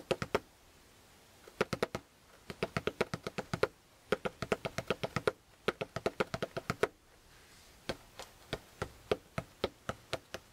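Fingertips and index fingers tap the cover near the label of a closed maroon, fabric-covered hardcover spiral notebook. About 48 short, dry taps come in quick bursts with brief pauses between them. Each tap has a soft, muffled knock centered in the low-mid range and almost no ring.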